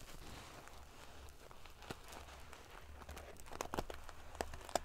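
Long nails scratch quickly across a large padded pillow covered in rows of silver metal sequins, producing a dense, prickly crinkling and scraping over a low rumble. Sharper, brighter clicks and ticks stand out near the end as the metal pieces rattle against each other.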